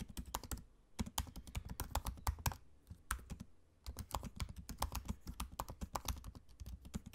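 Fingertips of both hands type on the low-profile black plastic keys of a space-grey aluminium laptop. Quick, dry key taps with a soft low thud beneath each one come in steady bursts, broken by two brief pauses, with no ring after each stroke.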